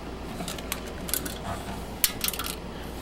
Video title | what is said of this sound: Crappy Taiwanese 5 Port Power Center NIB From the Late 90s | there is definitely something broken inside